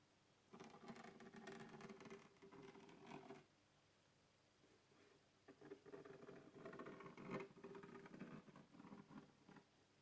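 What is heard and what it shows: Fingertips and nails scratch and tap the lid of a closed black hard plastic microphone carrying case with a textured surface, holding its contents and lying on a wooden table. Two stretches of dense, rapid scratching and light tapping come with a quiet pause between them. Each touch is a dry, short plastic sound with a slight hollow body and no lingering ring.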